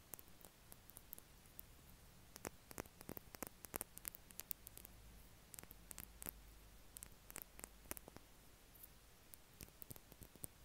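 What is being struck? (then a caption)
Small plastic lip balm tube. A small yellow plastic Carmex lip balm stick with a red cap is held in the fingers and tapped and scratched with the nails. Dozens of quiet, sharp, bright clicks and ticks come at an irregular pace over a steady low hiss, each dying away almost instantly.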